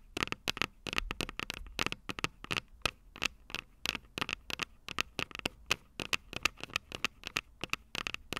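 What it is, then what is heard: Metal microphone capsules. Long purple nails tap and scratch the small, hollow, silver metal microphone capsules of a Tascam DR-05 recorder. About forty quick, dry, bright clicks with a metallic ring near 2.6 kHz come in an uneven rhythm, with faint scratchy rustle between them. Each tap dies away almost at once.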